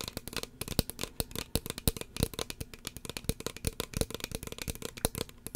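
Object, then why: Plastic spray bottle with pump cap. Long fingernails tap a small, hollow red plastic spray bottle with a white plastic pump cap, close to the mic. A rapid, uneven run of sharp, dry clicks follows, each with a bright edge and a hollow low knock. The taps stop dead with almost no ring, like a dense clatter of ticks.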